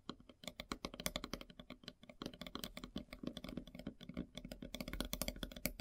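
Long silver nails tap rapidly on a large, solid, flat slice of light-colored wood with a bark edge. The taps form a fast, uneven patter of short, dry clicks with a bright edge and a soft woody body, each dying away almost at once.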